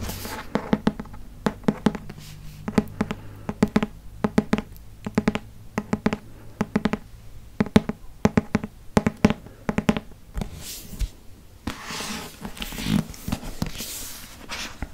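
Fingertips and nails tap and scratch the back and front covers of a hardcover Harry Potter book with a solid cardboard cover. Quick, dull taps with a low, hollow thump come in uneven clusters for about ten seconds. They give way to soft, brushing scratches with a breathy, high hiss.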